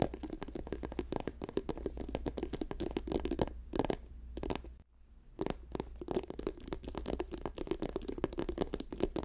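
A plastic tube is tapped quickly with the fingers, producing a dense run of short, dry, hollow taps with a low-mid body and almost no ring. The tapping briefly pauses near the middle before resuming at the same brisk pace over a faint steady low hum.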